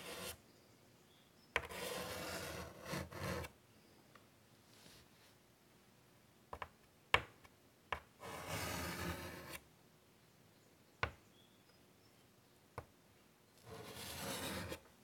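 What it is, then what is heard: Chalk drawn on a wood-framed chalkboard. White chalk is drawn in long strokes across a large, flat, wood-framed chalkboard, making bursts of broad, raspy rubbing and scratching that fade into quiet pauses between strokes. Five short, sharp clicks stand out between the strokes.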